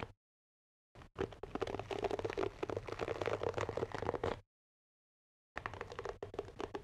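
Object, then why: Wooden-backed paddle hairbrush. A medium wooden paddle hairbrush with a wooden back and bristle pad is held in front of a microphone while fingertips tap and scratch its wooden back. Rapid, dense, uneven tapping and scratching runs from about one to four and a half seconds, pauses in silence, then returns briefly near the end. The sound has a dull woody tone around 480 Hz and a faint low hum underneath.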